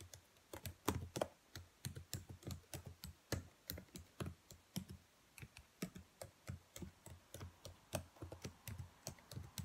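Long white-painted nails and fingertips tap and type on the black plastic keys of a laptop keyboard, whose hollow key caps sit on a thin chassis. About 38 quick, dry clicks and clacks come in an uneven typing rhythm, each with a soft low thump underneath and a brief bright tick from the nails. Every hit dies away almost at once.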